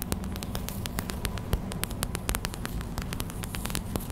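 Long white acrylic nails tap fast on a small clear plastic hot/cold pack filled with white gel beads. The result is a rapid stream of sharp, bright clicks with almost no ring. They sit over a steady low hum and soft static.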